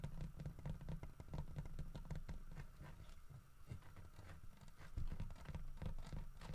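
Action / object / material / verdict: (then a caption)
tap / carved wooden statue / wood / none. Fingertips and nails from both hands tap quickly and continuously on the sides of a solid carved wooden bear head holding a wooden fish. The result is a dense, low, patter-like stream of short, dull knocks. The taps stay fairly steady, with a slightly softer stretch near the middle.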